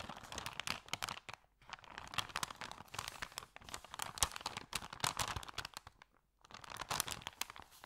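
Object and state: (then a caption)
Paper bag being crumpled. Hands flex and crumple an empty, thin white paper sandwich bag with green print. A dense run of crisp, bright crinkling and crackling fills the clip, broken by brief near-silent pauses around 1.5 and 6.2 seconds.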